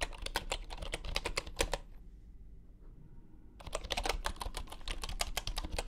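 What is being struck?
Bamboo wooden computer keyboard with wooden keycaps.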